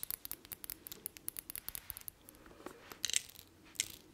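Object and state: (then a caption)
Glass perfume bottle. Long nails tap a thick, palm-sized blue textured glass perfume bottle with a silver cap. A quick run of sharp, bright clicks with almost no low end and no ring, fast and even at first, then sparser and softer, with a couple of louder taps near the end.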